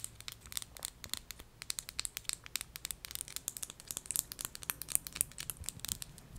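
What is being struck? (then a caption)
Small glass perfume bottle. Long acrylic nails tap and scratch the faceted sides and top of a small, partly filled clear perfume bottle of solid thick glass held in both hands. The result is a quick, irregular stream of sharp, bright clicks and scratchy ticks, concentrated in the high frequencies with almost no ring after each hit.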